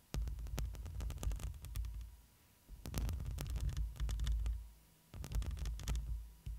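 Long pointed nails scratch the black metal mesh grille of a hollow studio microphone, first with one hand and then with both hands. The close scratching comes through as a deep, booming rumble dotted with sharp, bright clicks, in three bursts separated by short quiet dips. A faint steady tone hums underneath throughout.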